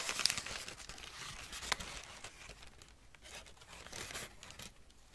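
A crumpled wad of thin greyish-brown packing paper is held in one hand while the fingertips of the other hand pinch, pull apart and crinkle pieces of it. Bright, dry crinkling and soft tearing rustles come in irregular bursts, with a few sharper crackles standing out early on.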